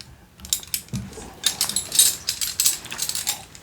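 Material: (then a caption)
Metal. A set of very large old metal keys, once used for all the doors of a very old church in Mexico and given as a souvenir by a priest, is jingled and clinked together. Bright, high metallic clinks and jangles come in quick uneven bursts, each ringing only briefly over a quiet background.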